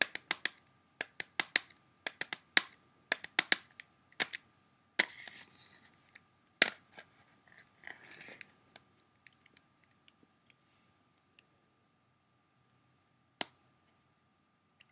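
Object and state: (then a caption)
Plastic CD jewel case. Fingertips and nails tap and click on the front cover of a closed, hollow clear plastic CD jewel case held in both hands. About 23 sharp, bright clicks come in quick clusters over the first seven seconds, mixed with soft scratchy rustling. They then thin out to a few isolated taps, with a faint steady high tone underneath.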